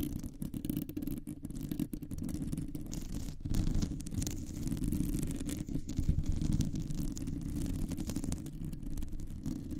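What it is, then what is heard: Metal microphone mesh grille being scratched. Long nails on both hands scratch a round, hollow metal mesh microphone grille. The result is a continuous, dense scratching rumble that is heavy in the low end and rises and falls slightly in loudness, with scattered quick rasps.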